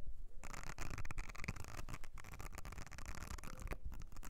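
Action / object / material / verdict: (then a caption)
scrape / silicone cleansing mat / silicone / none. Long nails scratch across the nubbed area of a thin, flat blue silicone makeup brush cleansing mat with ridged and nubbed surfaces. The result is a dense, continuous stream of dry, rapid rasping and patter, heavy in low-end rumble, with short bright flicks along the way.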